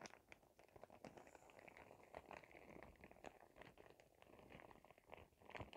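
A clear printed plastic shower cap with glitter is rubbed and crinkled between both hands with fingertips and nails. The result is a quiet, steady stream of soft crinkling with many small sharp, bright crackles throughout, the last one slightly louder.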